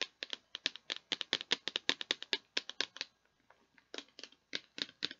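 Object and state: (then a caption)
Plastic bead container, hollow. Long painted nails tap and scratch a clear plastic tub with a lid and a blue handle, hollow and partly full of perler beads. The result is a fast run of sharp, bright, dry clicks with almost no ring or low end, pausing briefly near the middle before the tapping resumes.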